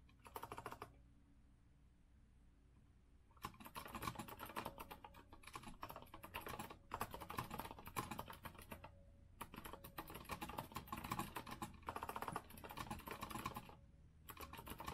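Fast typing with the fingertips of both hands on a compact retro Azio mechanical keyboard with a rose-gold metal frame and round plastic keycaps, resting on a wooden desk. A short burst of quick, bright clicks is followed by a quiet gap of about two seconds, then dense runs of clacking keystrokes with brief pauses.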